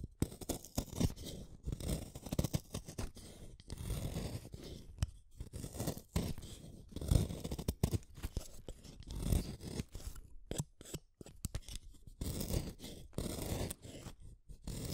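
A small, solid red wooden colored pencil is shaved with a utility knife blade. Repeated short, dry scraping and shaving strokes come in irregular bursts with brief pauses, carrying a low, crunchy body and little brightness.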